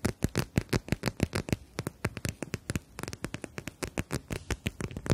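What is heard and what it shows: Long nails tap and scratch across a clear plastic eye mask filled with gel beads and edged in fabric, held in both hands. About 33 quick, dry taps and clicks follow one another, each with a soft low thump and a brief bright plastic crackle that dies away almost at once.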